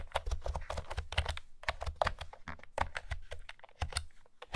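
Typing with fingertips and long nails on a pastel blue and green plastic retro keyboard with round keys and a hollow plastic body. A rapid run of short, hollow plastic clacks sits over a low thump, with each tap dying away almost instantly.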